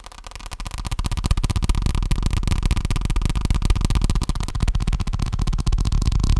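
A paper check book is tapped rapidly with fingertips, making a dense, fast stream of soft, dull, low thuds. The tapping starts quieter and grows a little louder, holding a steady, slightly uneven rhythm throughout.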